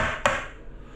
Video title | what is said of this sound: How To Tile like a Pro | you know it's a drummy tile but that's a hollow wall